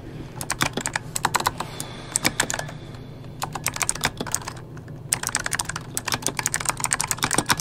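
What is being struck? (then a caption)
Mechanical keyboard with plastic keycaps. Fingertips type on an RGB-backlit mechanical keyboard with plastic keycaps, with only one hand at the start. The result is a steady run of sharp, bright, clicky keystrokes that die away almost instantly. Brief lulls fall around the middle, over a faint low hum.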